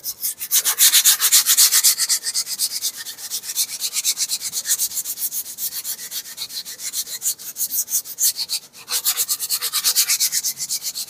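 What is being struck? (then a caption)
Weathered wooden plank. A gray, weathered, textured solid wooden plank about a forearm long is held upright next to a stand microphone and scratched and rubbed with the fingertips and nails of one hand. Rapid, dry, raspy strokes repeat at roughly four per second, almost entirely high, bright hiss with no low end. There is a brief drop near the end before the scratching picks up again.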